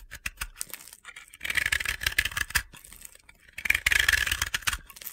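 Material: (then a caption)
Pressed powder. A utility knife blade scrapes powder from the surface of a dry, powdery, hand-sized blue and yellow soap ball (bath bomb), a crumbly sphere held in the hands. Short dry ticks lead into two longer bursts of bright, gritty, crunchy scraping, with quiet gaps between them.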